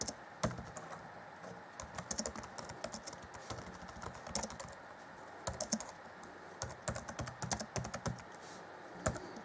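Fingertips of both hands type on the black plastic chiclet keys of an Acer Chromebook C20 (2014) laptop, whose keyboard deck is grey. The result is a quick, irregular run of short, dry plastic clicks, each with a soft low thud and a bright tick that dies away almost at once. A few louder bursts of keystrokes stand out over a steady, quiet background hiss.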